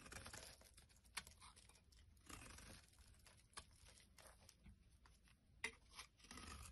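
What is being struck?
Bar of soap.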